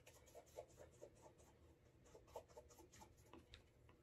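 A cloth wrapped over the fingers rubs the toe cap and upper of a brown leather Alden Straight Tip Blucher cap-toe dress shoe to build a wax burnish. Quiet, irregular rubbing strokes come in short squeaky bursts with a mid-pitched tone and faint bright hiss over a low rumble.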